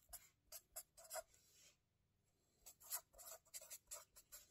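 A hand writes continuously with a felt-tip marker on the lined paper pages of a spiral-bound notebook resting on a table, scratching the tip across the paper. Short, bright, scratchy strokes come in irregular bursts, pause for a quiet moment around the middle, then resume more densely.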